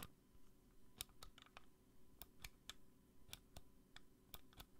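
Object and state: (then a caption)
Plastic bunny lamp. A small pink plastic bunny-shaped DVA light on a black plastic base is held in the hand and tapped with long nails. About thirteen sharp, bright clicks fall in an uneven rhythm, each dying away almost instantly over a low, steady background hum.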